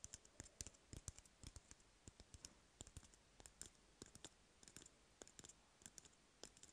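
An empty, hollow cardboard toilet paper roll is held in hand while fingertips tap and nails scratch its surface. The result is a quiet, irregular stream of short, dry, clicky taps with bright edges and almost no ring, over a soft, steady hiss.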